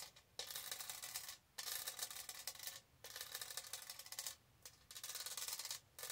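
Long nails rub and scratch along the textured side of a tall, hollow pink plastic tumbler covered in raised diamond studs. Several bursts of bright, dense, high-pitched rasping are separated by short quiet pauses. There is almost no low end.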